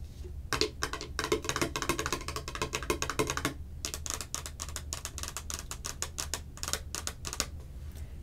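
Long acrylic nails tap rapidly on the sides of a hollow, hand-sized, clear plastic can-shaped Cherry Coke container held in both hands. The result is a dense run of sharp, bright clicks with almost no ring, over a steady low hum. The tapping briefly eases just before the four-second mark, then carries on in quick bursts.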